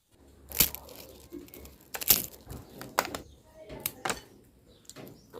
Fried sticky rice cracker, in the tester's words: กรอบมากค่ะอร่อยลงตัวสุดๆไปเลยตัวแผ่นข้าวแตนก็จะมีความกรอบแล้วก็ฟูทุกเม็ดเลยค่ะ